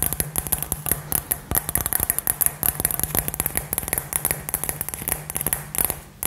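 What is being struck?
Glass globe with glitter inside.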